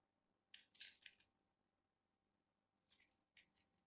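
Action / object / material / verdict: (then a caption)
scrape / bar soap / soap / none. A solid orange rectangular bar of soap with a grid-cut surface is held in the hand and scraped and carved with a small black knife blade as dry shavings fall. Quiet, crisp, bright scratchy rasps come in two clusters of short strokes, separated by a pause, with almost no low end.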